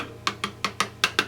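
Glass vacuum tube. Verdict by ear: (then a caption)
Not microphonic. Valves in a Marshall JCM2000 TSL amplifier are tapped six times after the microphonic valve was replaced with a JJ valve. Each tap is a short, dry, bright tick with almost no ring. The replacement is not microphonic, and the ringing that had been carried from the faulty valve is gone.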